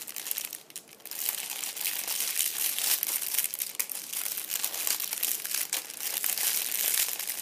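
A fist-sized purple metallic foil crinkle ball resting on an upholstered seat is pressed, squeezed and rubbed by fingers and a palm. It gives a continuous, bright, crackling crinkle with almost no low end, swelling and easing as the grip changes, with a brief quieter dip near the start.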